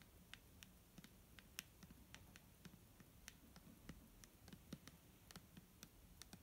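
A clear plastic micellar water bottle filled with liquid is tapped with fingernails in a quick, irregular run of sharp, bright clicks. Each tap is very short, with a faint low knock beneath it and a steady low hum in the background.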